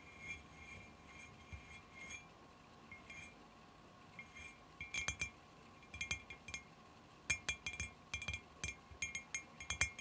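Long fingernails tap the top side of a clear glass cylinder jar lying on its side on carpet, hollow with dried flowers inside. The sound is bright, glassy clinks with a short high ring, faint and sparse at first, then quicker clusters of taps that grow louder toward the end.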